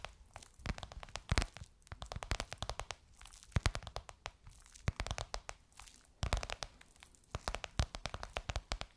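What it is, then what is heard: Faux leather cushion cover. Long nails tap and scratch a gold crocodile-embossed faux leather pillowcase on a soft cushion. Rapid clusters of sharp, crinkly clicks and scrapes come in bursts with brief pauses, each tap dry and quickly cut off with a low thump beneath a bright crackle.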